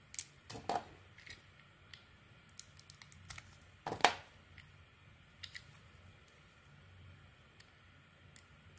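A small metal blade peels thin layers off a palm-sized, hand-held solid oval bar of cream soap with a cracked pink-brown coating. About fourteen short, dry scraping and crunchy cutting clicks sound over a quiet background, with one louder crackling crunch near the middle. Each click is bright and stops almost instantly.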